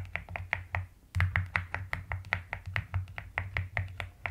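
Fingertips and long nails type rapidly on a white-cased mechanical keyboard with pastel plastic keycaps, producing a quick run of about 21 separate keystrokes. Each stroke combines a deep, muted thump with a brief clicky tap around 2 kHz and dies away almost at once. A short pause near the one-second mark is followed by slightly harder strokes.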